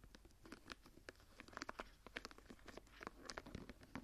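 Fingertips and long nails tap and scratch across the textured cover and woven border of a dark brown embossed leather journal held tilted. A quiet, steady run of quick dry taps mixes with soft scratchy rasps, each click short and bright with almost no ring.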